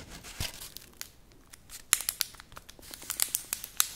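Fingers rub, scratch and peel the dry, papery outer skin of a large whole onion held in one hand. Bright, crisp crinkling and tearing clicks come in irregular bursts over a soft hiss, with most of the energy high up and almost no low end.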